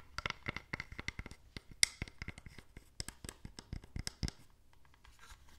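A small, hollow, open wooden box (a stamp set holding stamps and an ink pad) is held in the hands and tapped and scratched on its sides with long nails. About fifteen quick, dry, bright taps with a hollow woody click around 2 kHz mix with light scratching and die away almost instantly. The clip ends in softer, fainter scratching.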